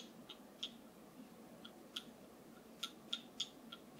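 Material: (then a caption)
Wood. A wooden massage tool is tapped in nine short, dry, bright clicks at an irregular, unhurried pace. Each tap dies away almost instantly over a faint, steady background hiss.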